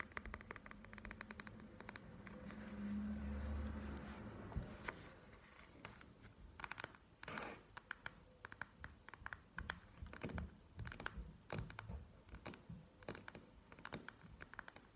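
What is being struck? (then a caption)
Plastic gel eye mask with beads. A panda-shaped plastic gel eye mask with beads is held up and handled with soft crinkling and squishing, with a low rumble around the middle. It is then laid flat and tapped with long nails, giving a run of quick, irregular clicky taps.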